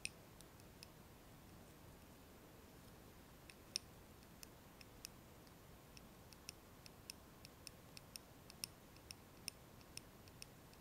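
A lit candle in a small glass jar filled with solid wax is held in the hands and tapped on its glass wall and rim with long nails. About 23 sharp, bright clicks ring for only a split second each, spaced irregularly over a soft, steady hiss.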